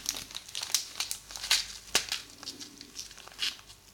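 A thin, folded sheet of purple tissue paper is held first over the microphone and then in front of it, crinkled and rubbed along the fold with the thumbs and fingertips. The result is a quiet, bright crackle of sharp, short crinkles and papery rustling, almost entirely high-pitched with very little low end.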